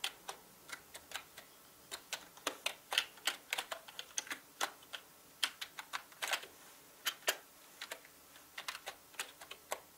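Fingertips of both hands type on a full-size black plastic mechanical gaming keyboard with plastic keycaps, producing an irregular run of sharp, bright clicks and clacks at a varying pace. Each keystroke is crisp and dies out almost instantly, with nearly no low end.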